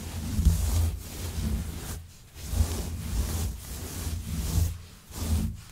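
A hand with long nails scratches through the pile of a grey, shaggy synthetic faux fur rug. The result is a soft, low rumbling rub with a faint airy hiss above it, coming in long strokes separated by brief quiet gaps.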